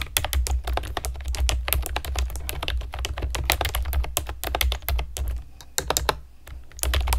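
A pastel plastic keyboard with round keycaps is typed on with long nails, giving a rapid stream of sharp, bright clicks over a low hum. The typing thins out and pauses briefly near the end before picking up again.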